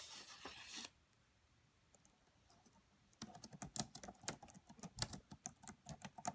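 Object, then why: Laptop keyboard with plastic keys. Fingertips with long nails type on the black plastic keys of a red laptop keyboard. A brief broadband rustle is followed by a near-silent pause, then a run of about 18 quick, crisp key taps with bright clicky tops and short, dry decays.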